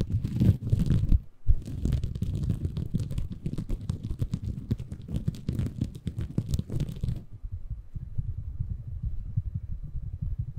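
Fingertips scratch and squeeze a small, soft, compressible green porous bamboo fiber sponge held in both hands above a Tascam recorder. The result is a dense, muffled, low crackling rustle with a brief pause early on. After about seven seconds the brighter edge drops away, leaving a quieter, duller rubbing.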